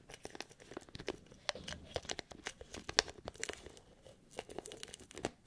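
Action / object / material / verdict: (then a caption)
scrape / small plastic bottle with lid / plastic / none. A small, hollow white plastic bottle with a lid, like a supplement bottle, is held in one hand while the fingertips and nails of the other hand scratch and tap its lid and sides. The result is a quick, dense stream of crisp clicks, scratches and crinkly rasps with a bright, papery edge and no lingering ring.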